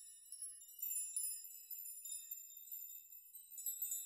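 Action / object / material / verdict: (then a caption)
shake / hanging metal nail chime / metal / none. A metal nail chime of hanging thin metal rods is grabbed, swept and shaken by hand so the rods clink together. The result is a quiet, continuous bright tinkling shimmer with overlapping metallic pings and short rings, with no low end at all.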